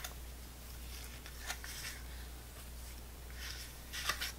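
A small, full, clear plastic apple sauce cup is held in the hand while long nails tap and scratch along its side and rim. Four light, crisp plastic taps stand out over soft, bright scratching, with a steady low hum underneath.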